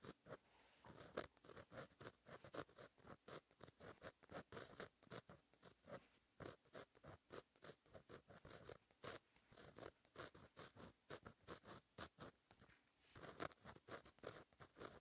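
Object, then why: Metal-tipped gel pen on a paper notebook page. A fine metal-tipped gel pen held in the fingers writes letters on a flat sheet of black lined paper in a notebook. The result is a continuous run of short, dry scratching strokes that rise and fall with each letter, each one crisp with no ring.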